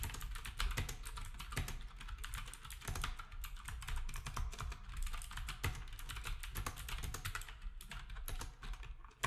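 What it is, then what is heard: Plastic round-key keyboard being typed on. Fingertips of both hands type steadily on a black, retro typewriter-style keyboard with round plastic keycaps. The result is a fast, continuous stream of short, dry clacks, each with a deep low thud and a bright click that dies away almost at once.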